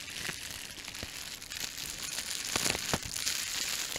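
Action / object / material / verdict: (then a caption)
scrape / plastic bubble wrap / plastic / none. A small crumpled sheet of clear plastic bubble wrap is held close to the microphone and squeezed and crinkled by the fingertips. A steady, bright crinkling runs throughout, broken by short, sharp pops as bubbles burst, with the loudest pops in the second half.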